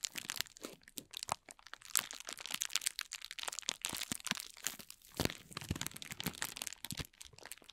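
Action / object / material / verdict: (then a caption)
scrape / ball of thin clear plastic film / plastic film / none. A palm-sized ball of thin, clear plastic film is held and squeezed in both hands while the fingertips rub and crinkle its surface. The result is a dense run of quick, bright, crackling crinkles with almost no low end, each snap dying away instantly.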